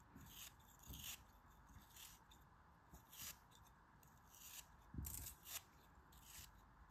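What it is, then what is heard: Kinetic sand block being cut. A hand-held solid chunk of grey kinetic sand is carved and scraped with a metal craft knife, thin slices crumbling off. About eight soft, crisp scraping strokes with a bright, gritty hiss stand out over a low, steady rustle, each trailing into a faint crumble.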